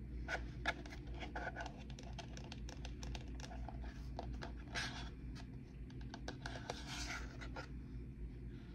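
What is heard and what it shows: Long painted nails tap and scratch the outside and rim of a medium white ceramic bowl, hollow and empty and held in both hands, then move to its underside as it is tilted. Quick, bright clicks with almost no ring mix with soft scratching over a steady low hum.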